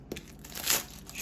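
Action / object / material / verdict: scrape / baked filo pastry börek / filo pastry / crisp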